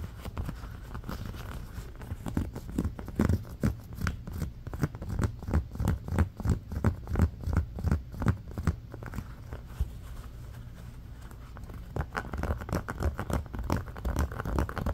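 Fingernails rapidly scratch across the ridges of a thin, flexible, round red ribbed silicone trivet mat resting on a blanket. The result is a fast, uneven patter of dull, muffled scrapes, heavy in the low end with almost no high brightness. The scraping builds to a louder, more pronounced stretch in the middle, eases off briefly, then picks up again toward the end.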